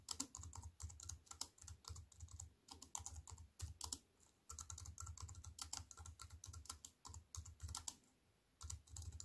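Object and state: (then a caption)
Aluminium and plastic computer keyboard. Fingertips with long white-painted nails type on a slim wireless keyboard with a silver aluminium frame and black plastic chiclet keys, resting on a wooden table. Rapid, crisp key clicks come in bursts, each with a soft low thud and a bright clack that dies away almost at once. The typing pauses briefly about halfway through and again near the end.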